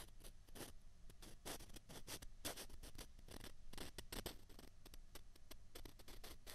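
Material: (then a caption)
Plastic. Two small hollow white plastic ping pong balls, held in the fingertips, are rubbed and scraped together. The result is a quick, dense run of short, dry, bright scratching strokes over a faint low rumble.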